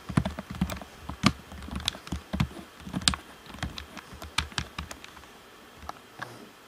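Fingertips tap the face and shell of a black, hollow plastic Xbox One controller in a quick, irregular series. Each tap is a short, dry knock with a hollow low body and a bright plastic click, dying away almost instantly.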